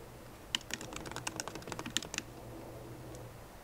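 A 13-inch MacBook Pro keyboard, with black plastic keycaps in a silver aluminum body, rests on a wooden desk and is typed on with long nails and fingertips. About fifteen quick, bright, dry taps come in a brief burst over a low steady background hum, then the typing stops and the hum continues.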